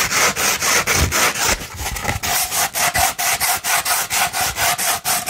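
A sandpaper sheet, first held flat and then rolled into a tube, is scratched with long nails in about 16 quick, rhythmic strokes. Each stroke makes a dry, gritty, bright rasping hiss. In the second half, a faint steady mid-range tone rings under the scratches.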